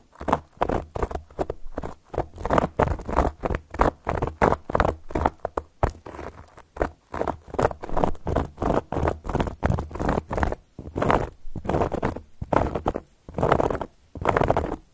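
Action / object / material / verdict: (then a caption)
scrape / cork board scratched with metal claw caps / cork / none. Long gold metal claw nail caps scratch across a solid, round, flat cork board. Rapid, dense strokes come in short repeated bursts with brief gaps, a dry, papery scratching with a soft low body.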